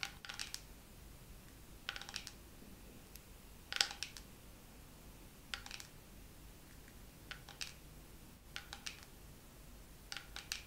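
Fingernails tap slowly on a dermaroller case in a second round of tapping. Short, bright, clicky taps arrive in small clusters separated by pauses, each dying away almost at once over a faint steady background hiss.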